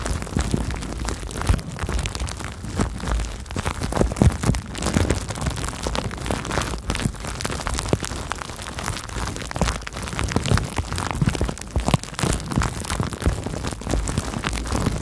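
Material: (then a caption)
Plastic. Clear plastic bubble wrap wrapped around a microphone is popped and crinkled with fingers and long nails. Dense, continuous crackling and sharp pops fill the clip over a heavy low-end rumble, with louder bursts scattered throughout.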